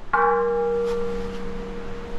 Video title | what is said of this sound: BSPK Forged Alfa Romeo 4C Wheels - mounting tires & comparing colors | listen how this thing Rings like a bell